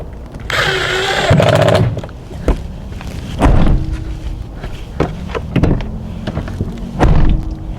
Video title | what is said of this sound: 캠핑카 DIY는 끝이 없다!! 전기 없이 온수 만드는 방법 ('이렇게 온수 세팅한 사람은 나밖에 없을거야..') / 캠핑카 단열 작업, 무시동히터 배관작업 | Trước đây nó phát ra âm thanh nhẹ như tiếng kim loại, nhưng bây giờ nó là một tiếng thịch trầm đục rõ rệt